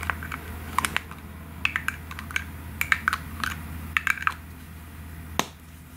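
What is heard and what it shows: Long fingernails rapidly tap the white plastic cap of a pink aerosol can. Around twenty short, dry, bright clicks come in irregular clusters, each dying away almost instantly. A faint steady low hum runs underneath.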